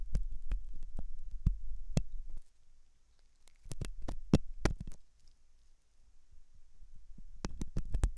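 A hooked metal dental tool scratches inside the ear canal of a white translucent silicone ear model made of soft solid rubber. Sharp, dry scratching clicks come in irregular bursts over a low, muffled rumble, separated by quieter stretches.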